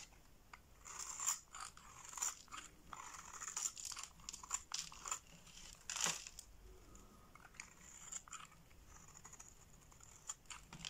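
A box-cutter blade slices thin flakes from the scored surface of a solid green bar of soap held in the palm. It gives a quiet run of crisp, crunchy cutting bursts with a bright, hissy edge, each ending quickly with almost no low end.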